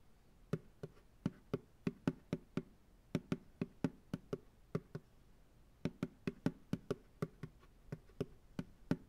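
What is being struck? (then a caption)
Upturned plastic pail. Fingertips knock and tap on the bottom of an empty white plastic ice cream pail resting upside down on a lap. There are 28 short, dry, hollow knocks in uneven groups with brief pauses. Each has a low, dull body pitched near 262 Hz and almost no ring.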